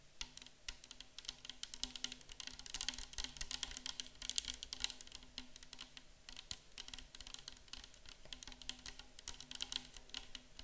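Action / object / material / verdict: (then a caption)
tap / plastic liquid bottle / plastic / none. Long acrylic nails tap and grip a tall, clear plastic micellar water bottle, mostly full of liquid, from both sides as it stands on a table. The result is a dense, steady stream of quick, bright, clicky taps with almost no ring, over a faint low hum.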